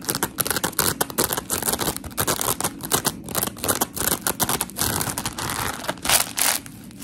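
Long pink acrylic nails scratch a solid, palm-sized rectangular block of coarse polymer foam scrub sponge, two-toned white and blue. Rapid, gritty, bright scratching strokes come in quick bursts with short pauses between them, each dying away almost instantly.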